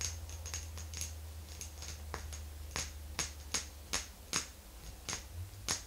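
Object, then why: Small glass jar with metal lid. Long green nails on both hands tap around the sides of a small, round, silvery glass jar with a metal lid resting on a fluffy rug. The taps are short, bright clicks with almost no ring, coming at a slow, uneven pace over a steady low hum.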